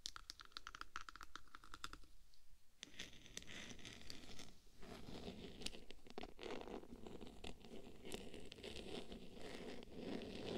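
Long black pointed nails scratch and tap along the hollow cylindrical metal body of a 3Dio binaural microphone wrapped in silver diamond-plate textured vinyl film. Quick crisp ticks open the clip, followed by a brief near-silent pause, then dense, continuous scratchy rasping with scattered sharp taps. The sound is close and quiet, and each tap dies away almost at once.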